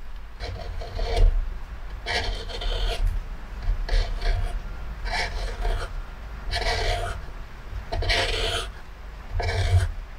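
A metal gouge at the rim of a pale wooden plate, its bowl full of shavings, scrapes and carves the wood in repeated strokes. Each stroke gives a dry, rasping scrape with bright upper hiss, over a steady low rumble, and the strokes come at an uneven pace.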